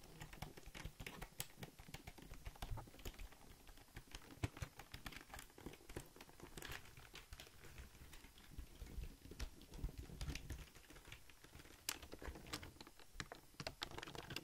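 Fingertips type on the keys of a full-size black Logitech plastic keyboard, and then the keyboard is flipped to show its gray plastic underside. The result is a quiet, steady stream of rapid, short plastic clicks and taps with soft low thuds beneath bright, crisp key snaps.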